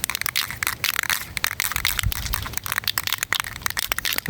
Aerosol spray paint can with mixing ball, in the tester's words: when you hear that loud knocking sound